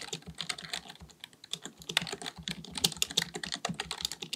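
Both hands type continuously with their fingertips on a black, full-size, hollow-bodied plastic keyboard, likely mechanical, resting on a desk. Rapid, slightly irregular key taps produce bright, crisp clicks with short, dull low thumps beneath them. Each tap dies away almost instantly.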